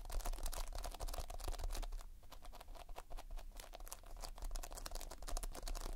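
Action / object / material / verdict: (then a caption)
scrape / foam-bead modelling compound / foam beads / none. Fingertips press, pinch and scratch multicolored Playfoam, a material of foam beads in a sticky binder. The result is a dense, irregular stream of quick, dry crackles and bright ticks, with a steady low hum underneath.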